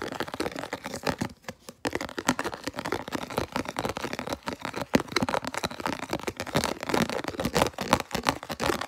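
Fingertips and nails rapidly tap and scratch the base and walls of a round, hollow, empty, translucent red plastic food container held up in the hand. The result is a dense, fast stream of dry, crackly clicks and scrapes with almost no ring, and a brief lull early on.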